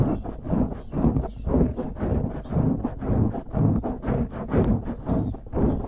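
Fingertips scratch and squeeze the top of a dark grey foam windscreen on a microphone. The result is a steady run of soft, muffled, low-heavy rustling swells repeating roughly twice per second. There is almost no high content, and each scratch dies away quickly.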